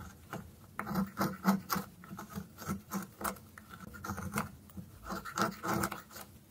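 A thin, solid orange stick of dry soap held in the fingers has its tip scraped and whittled with a dark metal blade. A quick, uneven series of short, dry scraping rasps sounds, each with a low body and a brief bright edge and almost no ring. Fine shavings come away from the tip.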